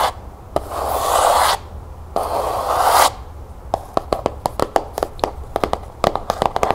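Long nails scratch along the ridged spine of a closed, cloth-bound hardcover book in two steady, hissing strokes, each about a second long. These are followed by a quick, uneven run of sharp, dry taps on the cover, each dying away almost instantly.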